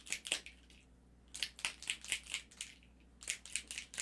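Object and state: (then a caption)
Ink bottle with a loose, free-moving mixing ball. A plastic bottle of metallic pearl alcohol ink is shaken to remix pigment that had settled at the bottom. Its small mixing ball, stuck at first, now rattles freely as sharp, bright clicks in quick, uneven bursts. The shaking continues until the pearl color runs all the way through and no sediment is left at the bottom.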